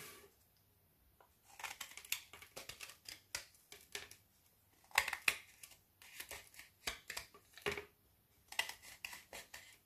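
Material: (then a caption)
Chocolate. A small metal knife scrapes shavings off the edge of a frozen solid milk chocolate bubble bar held in the hand, in repeated strokes. Quiet, bright, crisp scraping and crackling bursts come in irregular clusters with short pauses between them, each stroke dying away almost instantly.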